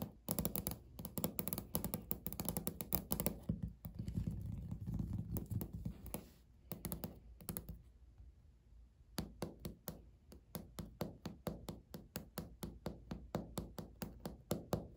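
Natural fingernail tips tap on a flat, solid, speckled beige laminate countertop. Dense, rapid clicky tapping with a dull, low thunk fills the first half, then eases briefly before settling into evenly spaced, crisp single clicks with bright tips and almost no ring.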